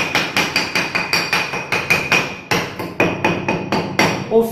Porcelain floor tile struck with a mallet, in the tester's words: Ouviu o barulho de oco nesse piso? Não.